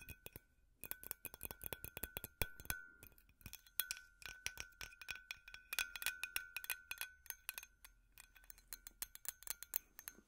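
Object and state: Glass light bulb.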